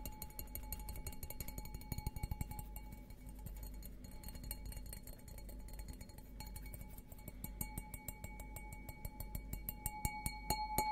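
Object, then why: Stemmed glass goblet. An empty, hollow stemmed glass beer goblet with a green logo is held upside down while fingertips and nails tap its bowl rapidly. The taps make a quick run of bright clinks with a short ring near 860 Hz over a low, steady background rumble.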